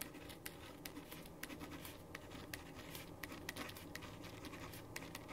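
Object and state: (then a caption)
Pen writing on paper. A ballpoint pen tip, held in the right hand, scratches across a thin sheet of white printer paper lying flat on a wooden desk while the left hand steadies the sheet. A quiet, steady scratchy hiss runs throughout, broken by short, bright ticks as the pen strokes and lifts.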